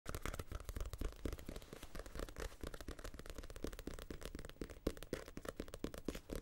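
Fingertips and nails tap and scratch the glossy card cover of a small paperback novel, Casino Royale, a solid stack of paper held up close to the mic, first on the front cover and then on the back. A rapid, steady stream of dull, low-heavy taps mixes with brief scratchy brushes, each tap dying away at once with no ring.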